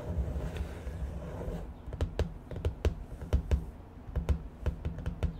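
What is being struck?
Spiral notebook with cardboard cover.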